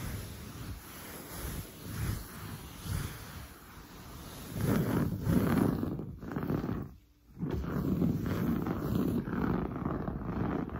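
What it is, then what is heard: Woven fabric sofa upholstery. Long blue nails scratch quickly and hard across grey-brown, textured, padded woven sofa upholstery. The result is a dense, rough, continuous rasping scratch with most of its energy low and muffled. It grows louder from about the middle, drops away briefly near the seven-second mark, then resumes.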